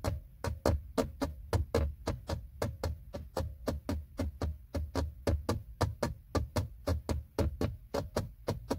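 Fingertips and short nails tap a flat, hollow, textured silver plastic trim panel beside a car's gear selector on the center console. There are 33 quick, dull, hollow knocks in a steady rhythm, each with a low thump and a faint midrange tone that dies away almost at once.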